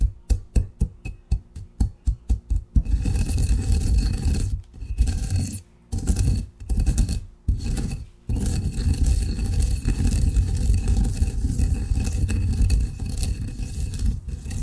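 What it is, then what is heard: Coffee ground in a granite mortar. A granite pestle taps about a dozen quick, separate strikes into fine coffee grounds in a granite mortar. It then settles into steady, gritty grinding and scraping, broken by a few brief pauses. The sound is deep and low, with a rough, sandy texture.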